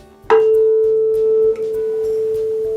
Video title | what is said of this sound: Ofício Professor 01 | aquele diapasão passou a vibrar porque ele recebeu energia do primeiro através do ar esse fenômeno da ressonância que é uma transmissão de energia